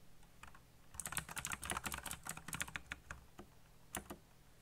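Fingertips tap the keys of a backlit black plastic mechanical keyboard in a fast flurry of sharp, bright clicks with very short decay. The typing is quiet for the first second, dense through the middle, and ends with a few scattered taps, all over a faint low hum.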